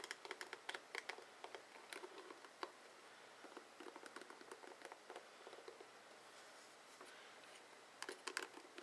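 Fingertips and nails strum and scratch the plastic pins of a dark blue plastic oval paddle hairbrush with a rubber cushion and hollow head. The result is quiet, crisp ticking and rasping bursts with a bright, clicky character and almost no low end. They come in quick clusters, thinning out in the middle and returning as a louder flurry near the end.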